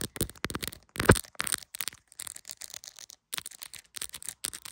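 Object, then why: Smartphone in clear plastic case. A hand-sized, solid iPhone in a clear plastic case is held in one hand and tapped quickly around the back camera and case with very long, pointed acrylic nails. A rapid, irregular run of short, dry plastic clicks and taps follows, with one louder knock near the start and a brief pause in the middle. Each tap dies away almost instantly.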